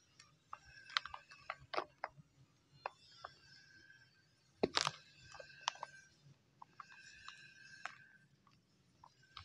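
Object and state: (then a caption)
Dry mud clumps crumbled by hand. Bare hands crush and crumble solid chunks of dried mud over a large plastic tub filled with dry brown soil and small pebbles, while fingers rub through the gritty grit. The result is quiet, bright, dry crackling: a series of short, sharp crunches and snaps with soft sandy rustling between them, and one louder crumbling burst about halfway through.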